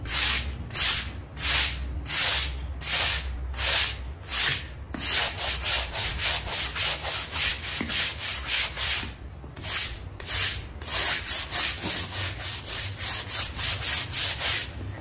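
A hand scrubs a wet, half-round gray synthetic fiber doormat with a red flower print, lying flat on tiles, back and forth with a stiff plastic scrub brush to clean off dried mud. Each stroke makes a bright, hissing scratch, and the strokes repeat in a steady but slightly uneven rhythm over a faint low rumble. Some strokes come faster and closer together in the second half.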